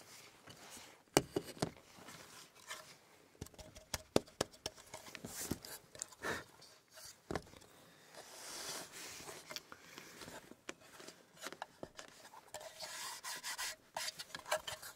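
Fingertips rub and scratch the sides and lid of a small, closed, hollow reddish-brown wooden box as it is held up, set on a table, and held again. The sound is a quiet, steady stream of dry scraping and soft hollow taps, with a few sharper clicks and bright rustling bursts. The brief contacts die away almost at once.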